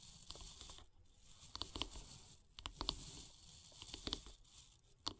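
Long grey-polished fingernails tap and scratch along the long, solid light-wood handle of a bristle bath brush lying on wooden log slices. Soft, dry scraping fills the background, broken by sharp, bright clicky taps that come in small clusters and die away almost instantly.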